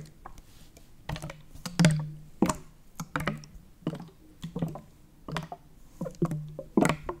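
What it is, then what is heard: Plastic drink bottle, full. Fingers tap and scratch along the ridged plastic body of a Prime plastic bottle, full of purple liquid and held sideways. A series of short, dull taps and brief scratchy rasps sounds irregularly over a low, steady hum. The taps are muffled and quickly damped, with little bright ring.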